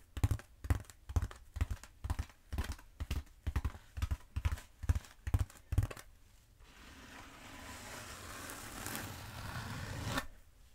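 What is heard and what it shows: Long acrylic nails tap and scratch along the textured surface of a long black bead foam roller held diagonally. A steady run of soft, low, dull taps fills the first six seconds, then gives way to a continuous, bright, rough scratching that gradually grows louder before stopping abruptly.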